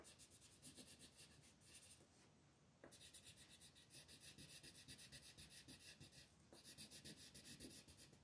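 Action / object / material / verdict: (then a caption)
scrape / colored pencil on a paper sheet / paper / none. A colored pencil, held by fingers with long red nails, rubs in small scratching strokes across a flat, thin paper coloring page lying on a table. The result is a quiet, bright, rhythmic scratching of about 16 quick strokes at roughly four per second, with a short pause near the 2-second mark and a brief break around 6.5 seconds.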